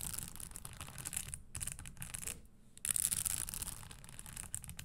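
Long acrylic nails scratch and tap over the dense small spikes on the upper of a red studded leather Christian Louboutin stiletto pump lying on a wooden table. The result is a steady stream of dry, bright scratching and rapid clicking, with a low rumble underneath. Two brief quieter gaps break the stream before a louder flurry of scraping near the three-second mark.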